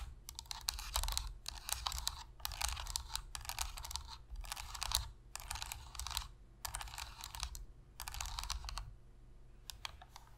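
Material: Plastic.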